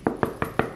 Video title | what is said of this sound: 🔥 DES PTITES CHOSES À VOUS MONTRER 😍 | il est creux quand on toque, quand on le tape derrière. Vous voyez, il est creux